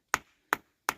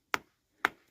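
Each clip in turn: First: Three sharp hammer taps on stone give short, flat clacks that die at once, pointing to a loose layer. Second: Two crisp, high taps that stop almost at once: tight, solidly bonded bluestone in the quarry bed.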